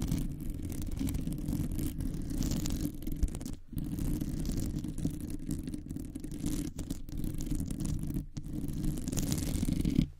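Long nails scratch and grip the hollow metal wire-mesh head of a large condenser microphone. The result is a dense, continuous rasping rumble concentrated in the low range, with faint brighter scratchy detail above. Brief pauses come near 3.7 and 8.3 seconds, and the sound stops just after 10 seconds.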